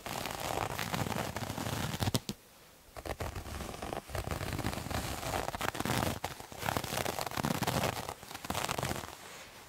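Fingernails scratch a multicolored striped terry cloth towel with a visible loop texture, making a dense, crackly rasping that covers the low to bright range. The scratching runs in steady bursts, drops away briefly between about 2 and 3 seconds, then resumes with uneven strokes until the end.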